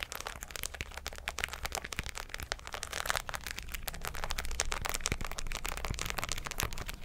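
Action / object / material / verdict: scrape / fabric cap covered in plastic pearls and rhinestones / plastic beads / none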